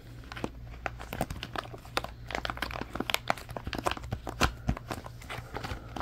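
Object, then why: Silicone pop-it toy. Fingers squeeze and crumple an orange silicone pop-it toy held close, producing a rapid, irregular stream of soft crinkling clicks and small pops. The sharp, dry snaps stop almost instantly, with a few louder pops standing out over a steady low hum.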